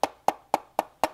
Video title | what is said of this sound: Blackmagic Pocket Cinema Camera 4K c'est de la M... balle ! | je me suis dit ouh la la ce plastique là ça sonne creux ça va pas tenir